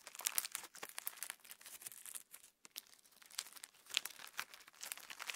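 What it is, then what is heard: Clear slime with plastic star sequins. A lump of clear slime with plastic star sequins is squeezed and pulled apart by fingertips close to the camera. Dense, bright crackling and crinkling pops and tearing snaps come in quick bursts, with almost no low end, and a brief pause near the middle.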